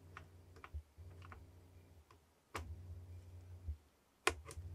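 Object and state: Cardboard box tapped.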